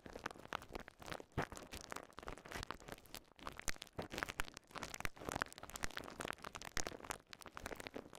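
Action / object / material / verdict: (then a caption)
scrape / polyethylene bubble wrap / plastic / none. A small ball of clear polyethylene bubble wrap is pressed and popped with thumbs and fingertips. The result is a steady stream of sharp, dry pops and crinkling crackles that overlap densely throughout.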